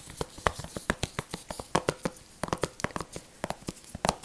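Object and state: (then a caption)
Plastic game case, tapped and scratched. A blue plastic video game disc case with a printed cover insert, flat and hollow, is held in latex-gloved hands and tapped and scratched with gloved fingertips. About nineteen quick, dry clicks and taps ring out with almost no decay, mixed with light scratching and a soft crinkle over a faint hiss.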